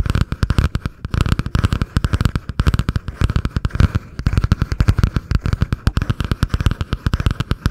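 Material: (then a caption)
Cardboard. Long painted nails tap and scratch fast on the cardboard cover of a butterfly-print spiral notebook held just above a foam-covered microphone. The result is a dense, steady run of short, dry, bassy thumps with very little ring, mixed with a faint scratchy texture.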